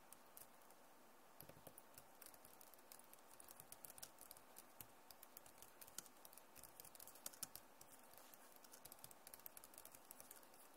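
Fast typing and tapping with long nails and fingertips on a backlit plastic laptop keyboard, giving a dense stream of quick, bright clicks and light scratchy ticks. The many short, crisp hits stay quiet over a low steady hiss.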